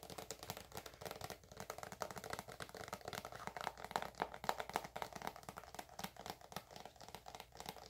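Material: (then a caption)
Plastic. Long acrylic nails tap and scratch a filled, hand-sized white soft plastic squeeze tube of eczema cream held up close. The result is a dense, uneven stream of quick, dry clicks and crinkly scratches centered in the midrange, each tap dying away almost instantly, with some bright, hissy texture on top.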